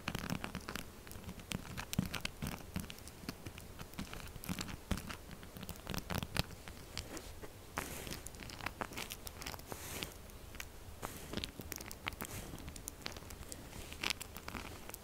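Long nails scratch and tap fast on the crumbly, scratched face of a solid pink textured soap bar. Dense, dry scraping and crackling runs throughout, with quick sharp taps and brief bright crinkly bursts. The sounds are short and dry, with no ringing.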